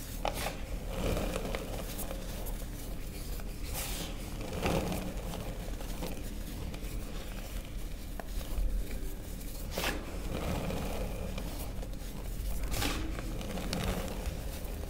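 A small solid block of purple reformed gym chalk, mixed with baking soda, is crushed and rubbed apart between bare fingertips and palm over a tray of loose purple chalk powder. Soft, steady crumbling and gritty rubbing carry through the clip, broken by occasional brief, bright crunches as pieces give way. The block breaks down into a crumbly, powdery texture.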